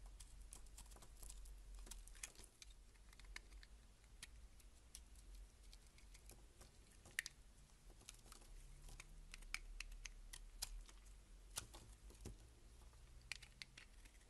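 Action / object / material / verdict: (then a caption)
scrape / laundry soap bar / soap / none. A solid beige laundry soap bar held in the hand has its face carved and scraped with a box-cutter blade, with chips breaking off. Quiet, dry scraping and crisp, bright clicks with no ring patter irregularly throughout, over a steady low hum.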